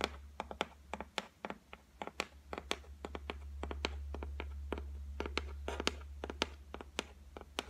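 Long nails tap and scratch across a flat white laminated shelf top of solid board. They make irregular, sharp, dry clicks with almost no ring, mixed with soft scraping, over a steady low hum.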